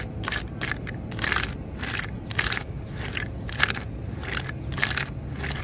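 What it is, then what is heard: Weathered dry tree stump, solid. Long fingernails and fingertips tap and scratch the splintered tips of an old, dry, grey weathered tree stump, solid, with a top of many upright wood fibres. Bursts of dry, crackly scratching rise into a bright hiss, repeating irregularly over a steady low rumble.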